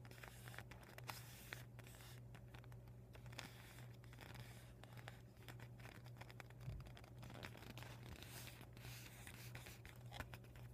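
Painted nails scratch and rub the thin, glossy plastic of a deflated vinyl beach ball with white and red panels. Quick crinkling scrapes and rustles run throughout over a steady low hum near 109 Hz, with a few sharper, brighter scratches standing out.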